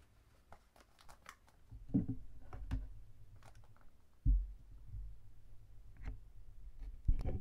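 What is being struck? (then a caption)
Cardboard chocolate box with plastic window. A Market O Creamy chocolate box of printed cardboard with a clear plastic window, full of wrapped chocolates, is held in both hands while fingertips rub and crinkle the box and the window. Soft, irregular crinkles and scratches play over a low, muffled handling rumble. A few louder thumping bumps stand out along the way.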